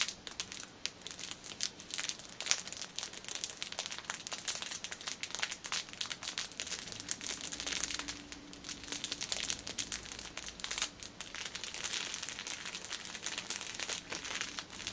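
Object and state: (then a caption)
Cellophane-wrapped pocket tissue pack. An upright six-pack of pocket tissues wrapped in clear plastic film is squeezed by hands while fingernails tap its top. Dense, bright crinkling and crackling with quick, dry ticks continues throughout the clip at a fairly soft level, with almost no low end and no ringing after each sound.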